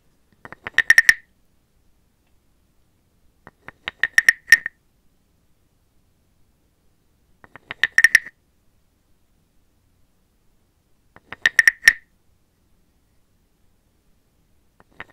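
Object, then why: Carved wooden frog guiro. A wooden stick is scraped along the ridged back of a small, hollow, carved brown wooden frog guiro, held close by a hand with long black nails. Five bursts of quick wooden clicks build into a hollow, croaking rasp centered near 1.8 kHz with bright upper overtones. Each burst cuts off sharply with almost no ring, leaving silent gaps between bursts.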